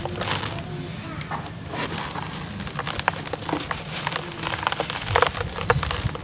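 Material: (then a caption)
Cement. Hands with cement-dusted fingertips grip, squeeze and crumble grey, grainy, solid dry cement chunks, each a few centimetres across, in a terracotta-coloured bowl as powder falls off. Dense gritty crunching and crackling with many short, sharp snaps and clicks continues throughout, growing louder and more pronounced toward the end.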